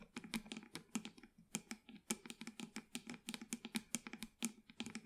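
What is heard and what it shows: Long white acrylic nails tap and scratch the sides of a small black plastic plant pot holding an artificial plant, held in both hands. A quick, steady run of about 28 dry, sharp clicks is heard, each with a bright, crisp top and a hollow body near 230 Hz that dies away almost instantly.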